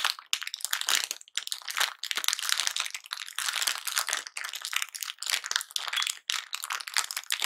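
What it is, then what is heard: Plastic candy bag being crinkled. A medium Fox's Glacier Mints bag made of thin plastic film, full of wrapped mints, is held in both hands, squeezed and crinkled with the fingertips, and turned over by the end. The result is dense, bright, crackling crinkles in rapid bursts with a few brief silent gaps, almost no low end, and quick decays.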